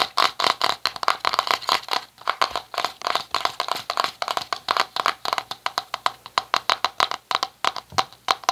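Fingertips and short nails tap and scratch the lid of a small round red plastic cosmetic jar held in both hands. A quick, steady run of about forty short, dry plastic clicks with light scraping between them rings around 1.1 kHz with bright upper edges and almost no low end. Each tap dies away almost instantly.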